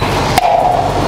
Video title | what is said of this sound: Transport Tasmania - Under Bridge Inspection | So I'm going to say that that's hollow there